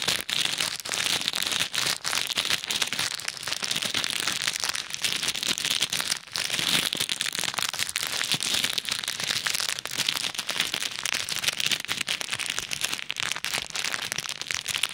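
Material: Plastic.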